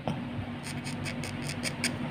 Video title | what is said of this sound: Perbedaan TUBE STABILIZER Original Tamiya & Replica. Bagaimana Cara pasangnya?! #ミニ四駆 Vs Aftermarket | ada bunyinya. Sedangkan yang ori itu halus.